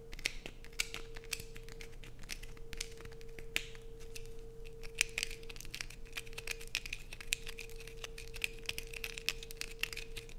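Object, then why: Bar of soap. A solid blue bar of soap held in the hands is scraped hard with long nails, sending shavings falling off the bar. Rapid, dry, bright scratches and sharp clicks follow one another without pause over a steady low hum and a faint constant tone.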